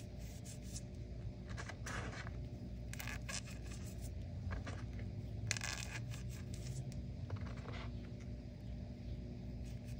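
Fingertips press and crush chunks of white and pink-dyed gym chalk (magnesium carbonate) in a crumbly pile of chunks and powder on a flat surface, then rub through the powder. Repeated bright, crunchy scraping bursts rise over a steady low hum throughout.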